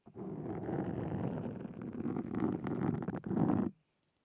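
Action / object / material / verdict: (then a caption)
scrape / foam microphone windscreen scratched with metal-tipped tools / foam / none. Two carving tools with metal tips and wooden handles scratch a black foam windscreen on a Zoom recorder. The result is a dense, rumbling, low-mid scratching that grows louder near the end, then cuts off abruptly into silence.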